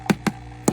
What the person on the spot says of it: it's all plastic you can hear when I tap on it